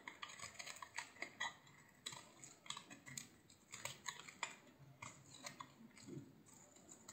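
A utility knife blade shaves strips off the face of a solid, hand-sized green bar of soap. Quiet, crisp scraping strokes repeat in quick succession, each a short, bright crackle with almost no low end and no ring.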